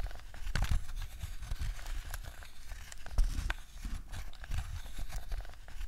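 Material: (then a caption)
Plastic. A black, hollow, hard-plastic wired PlayStation 2 DualShock 2 controller, held on a fluffy rug, is tapped by long nails on its analog sticks, face buttons and shell. The sharp, dry clicks come in an irregular run with a low, thuddy body and almost no ring.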